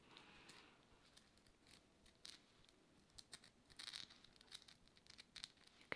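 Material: Tourmaline.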